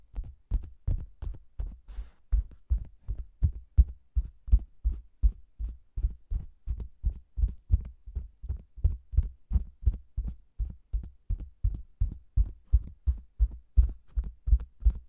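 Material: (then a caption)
Faux leather. A hand with long green nails taps, pats and scratches the top of a round red faux leather cosmetics bag with a microphone inside its hollow. About sixty rapid, muffled, deep thumps follow one another at a quick, steady pace. Each thump is short and boomy, with no high content.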